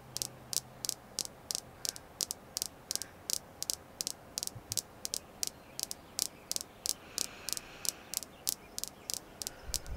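A red jasper crystal stone is tapped continuously, giving about thirty-five short, dry, bright clicks in a steady, slightly uneven rhythm. Each tap dies away almost instantly over a faint hiss.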